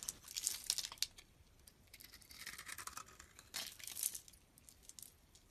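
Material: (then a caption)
Soap. A metal utility blade scrapes a solid, palm-sized pink oval bar of soap, peeling off long flakes. Quiet, bright, crisp scraping and crackling comes in bursts, with a smoother drawn-out scrape in the middle and another crackly pass near the end.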